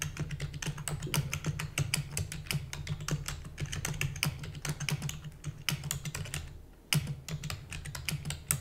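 Rapid typing with fingertips and long natural nails on a full-size black plastic computer keyboard with plastic keys and a hollow housing. Dense, bright, short clacks run over a steady low hum, with a brief pause about two-thirds of the way through before the typing resumes with a few sharper keystrokes.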